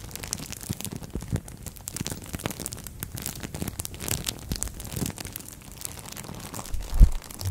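A thin green-and-white printed plastic bag wrapped over a microphone head is rubbed, crinkled and scratched with long nails and fingertips. Close, continuous crackling and rustling fill the clip with a heavy low rumble, and a louder thump comes near the end.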